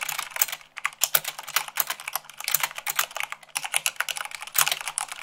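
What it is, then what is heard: Mechanical keyboard typing. Fingertips with long nails type fast on a mechanical keyboard with white plastic keycaps on a black base. A rapid, steady stream of short, bright clicks and clacks runs throughout, each stopping almost instantly, with only a brief pause mid-clip. The sound is sharp and crisp with almost no low end.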